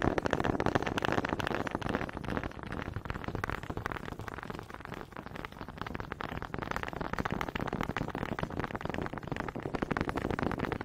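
Two small solid wooden honey dippers with grooved heads, held in both hands with long red nails, are knocked and rubbed together in front of the mic. The result is a dense, continuous stream of rapid, dry wooden clicks and scraping rattles, warm and midrange-heavy with little brightness. It keeps a steady level, dipping briefly in the middle before picking back up.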